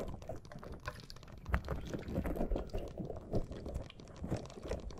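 A small green, soft rubber or silicone puffer ball with flexible spikes, a hollow-ish squishy toy, is held in both hands above the microphone while fingertips and long nails rub and scratch its spikes. The result is a steady stream of soft, dense scratching, squeaking and crackly tapping with a deep, muffled low end, rising and falling in quick, closely packed bursts.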